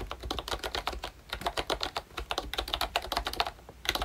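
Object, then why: Plastic membrane keyboard. Fingertips type quickly on a pink plastic ROYCHE Disney Mickey Mouse retro membrane keyboard with round keycaps and a hollow body. The result is a fast, uneven run of short, bright, clacky plastic taps with almost no ring, over a faint low hum.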